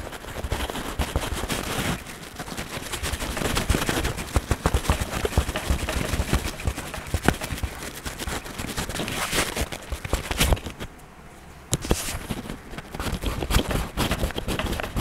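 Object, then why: Wax crayon on paper page. An orange-brown wax crayon is scratched across the page of an open paper coloring book on a table, coloring Mickey's face. Dense, rapid, rough scratching strokes run almost continuously, with a brief quieter pause near the end before the scratching resumes.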